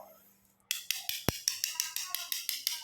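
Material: Ceramic.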